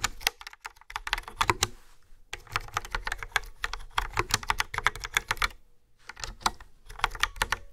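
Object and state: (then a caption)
Plastic round-key keyboard being typed on. Fingertips with nails type on a hollow-bodied plastic keyboard with a yellow frame and round black keys. The result is quick, bright, clicky keystrokes with very little ring, coming in rapid bursts separated by two brief pauses.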